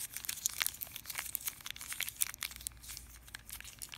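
A small yellow printed plastic candy wrapper, held in the hand above a fruit bowl, is crinkled and rubbed between fingers with long dark-painted nails. It gives dense, bright crackling and rustling made of quick, sharp crinkles with almost no low end, softening slightly toward the end.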